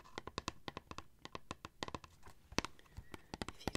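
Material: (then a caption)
Cardboard. Fingertips and long nails tap and rub across the front of a small, flat, printed cardboard Penhaligon's Scent Library perfume sample box held in both hands. About 22 quick, dry taps sound in an irregular rhythm, with soft scratchy rubbing between them. Each tap dies away almost instantly.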